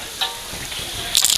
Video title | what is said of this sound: Kuliner Daun Bebele | Wow, kriuk banget tuh. Sampai lebur kayak gini.